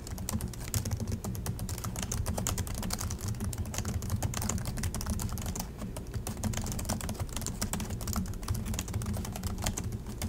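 Both hands type steadily with their fingertips on the black plastic chiclet keys of a silver Acer laptop resting on a desk. The result is a continuous stream of quick, bright key clicks over a low, steady hum.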